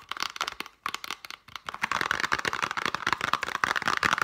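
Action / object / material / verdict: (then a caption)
tap / small printed cardboard box / cardboard / none. Long painted nails rapidly tap and scratch across the faces and edges of a small, hollow, printed cardboard chocolate box. The result is a fast, dry patter of short clicks with a papery, crinkly scrape centered in the upper mids and almost no low end. It starts softer and becomes denser and louder in the second half.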